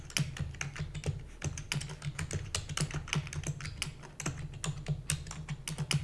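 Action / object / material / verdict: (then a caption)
tap / plastic computer keyboard / plastic / none. Both hands rapidly type on a full-size black plastic computer keyboard with hollow keys, using long nails and fingertips. It makes a fast, uneven stream of dry clicks and clacks, each with a bright tick over a hollow, low thump. Every keystroke dies away almost at once.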